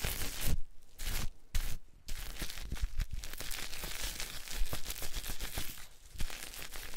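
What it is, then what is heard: Bar soap being scraped. A solid rectangular pink bar of soap, held in the hand, is scraped and rubbed with a white cloth, leaving streaks on its surface. Dry, broadband scratching and tearing-like rasps come in bursts, separated by brief near-silent pauses early on and then running into a steady, crinkly rubbing.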